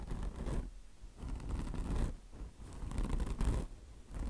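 Long blue nails scratch the mesh top of a mesh-covered microfiber car wash sponge resting on marble. Four bursts of dry, rasping scratching come in a slow back-and-forth rhythm, each separated by a brief quieter pause, with most of the sound's weight in a soft low rumble.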